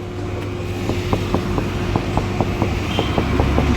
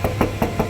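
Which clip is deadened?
The first.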